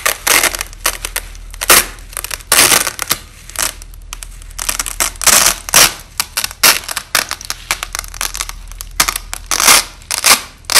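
A wide white strip of thin, flexible nylon hook-and-loop tape (Velcro), with its hook and loop halves stuck together, is pulled apart by hand in ripping peels under red lighting, with the audio slowed down. Repeated bursts of bright, crackly tearing rise and fall, sitting mostly in the high range with almost no low end. Quieter gaps fall between the louder rips.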